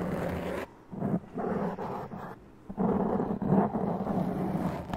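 Long press-on nails scratch the top and sides of a black foam windscreen on a large condenser microphone, making rough, close scraping strokes. The bursts of low, dense scratching come in uneven strokes separated by brief quiet gaps.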